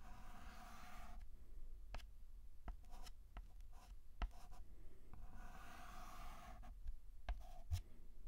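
A white chalk stick held by hand writes on a flat black chalkboard, filling in the letter A. Quiet, soft scratching strokes rasp across the board in long bursts, broken by short, sharp taps as the chalk strikes the surface.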